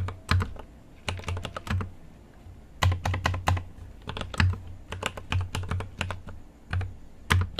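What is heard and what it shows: Fingertips type on a GMMK Pro mechanical keyboard with an aluminum case and plastic keycaps. Quick runs of keystrokes, separated by short pauses, each land with a deep, thocky low thump and a crisp, bright click on top. Every stroke dies away quickly into a quiet background.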